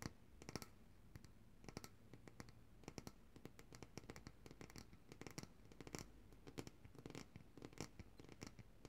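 Long dark-painted nails tap and scratch the sides of a large glass jar of coconut oil with a paper label, full of white solid oil and held upright in both hands. Quick, soft, bright clicks and scratchy strokes come in irregular bursts over a low steady background.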